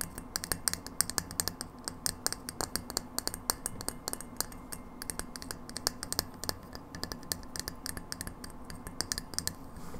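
Long nails tap and scratch across the surface of a hollow frosted glass light bulb held against a table. The result is a steady stream of rapid, sharp, bright clicks that stop almost instantly, over a soft scratchy hiss.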